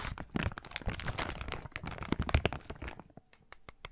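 A medium-sized, thin, transparent plastic bag, hollow and apparently empty, is crinkled and rubbed between the fingertips of both hands, held close to the recorder and beside the ear. Dense, bright crinkling and crackling with sharp, short snaps fills the first three seconds, then thins out into sparser, isolated crackles.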